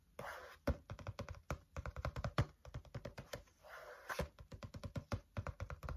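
Fingertips tap quickly on the cover of a green, wire-bound spiral notebook held in the hand. The taps come as dense, irregular bursts of dull, low thuds with very short decay. Two stretches of soft rustling fill the gaps between them.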